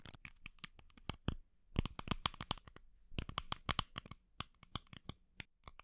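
Long nails tap and scratch the sides and lid of a small, hollow, white plastic supplement bottle held in the hand close to the mic. A quick, irregular run of sharp, dry clicks and bright scratchy rasps comes in clusters with brief pauses between them. Each tap stops almost instantly, with no ring.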